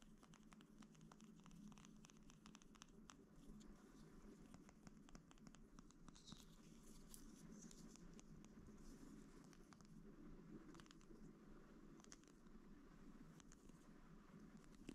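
A wide roll of clear plastic packing tape on a printed cardboard core, a hollow ring held in both hands, is tapped and scratched with fingertips and short nails. The result is a quiet, steady patter of soft, dull taps mixed with light scratching and crackle, with bright clicky ticks on top of a low, muffled body.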